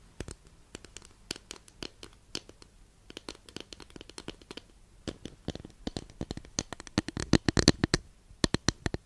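Long nails scratch and tap across a long, flat, thin, solid wooden incense holder, making a quiet stream of short, dry, crackling scratches. Each scratch is a brief broadband click with a bright top and almost no ring, and the strokes grow denser and louder toward the end.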